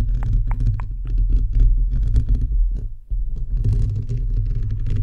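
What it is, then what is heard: Fingernails scratching a metal microphone mesh grille. Fingertips and nails of both hands scratch the perforated metal mesh grille of a bare, hollow microphone head. The result is a steady stream of dense, low, rumbling scrapes and thumps centered around 100 Hz, with a few bright ticks near the start. The sound briefly dips just before the 3-second mark, then the scratching resumes.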